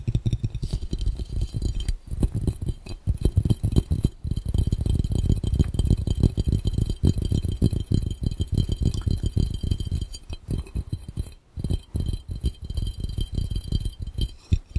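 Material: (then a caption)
Glass. Fingertips of both hands tap rapidly on an empty, clear, round, hollow glass fishbowl for about 15 seconds. The taps come as a dense, continuous patter of short, dry, low thuds with almost no ring, broken by brief pauses near 2, 4, 10.5 and 11.5 seconds. A faint trace of speech may sit underneath.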